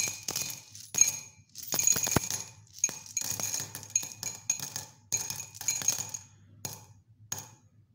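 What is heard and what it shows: Small silver aluminium coins are dropped by hand from cupped fingers into a white ceramic mug with a blue handle that is already partly full of coins, and the mug is later held in one hand, possibly shaken. Bursts of bright, high, tinny clinks and jingles come in quick clusters, each ringing only briefly before the next cascade.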